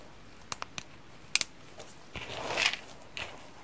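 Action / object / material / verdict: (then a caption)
shake / dry soap flakes / soap / none. A blue nitrile-gloved hand presses into a heap of cream and pink dry soap chips in a yellow container, grabbing handfuls and letting the chips fall. Sharp, bright crackling clicks come first, then a swelling crunchy rustle as the flakes shift and drop, with a last brief crackle.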